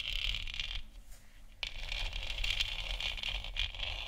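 Long nails tap and scratch the top of a lit, hollow plastic moon lamp sphere, making a steady run of dry, bright scratching with a rough low rumble underneath. The sound thins out briefly near the middle, then resumes with a sharp tap and continues with quick, uneven scratches.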